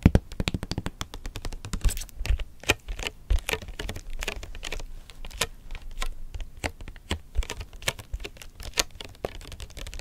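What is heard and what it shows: A small, rigid, hollow white cardboard electronics box is tapped quickly with long nails on its faces and edges. The result is a rapid, uneven stream of short, dry clicks and ticks with a hollow low thump under each tap and bright edges on the sharper strikes, with no ringing after.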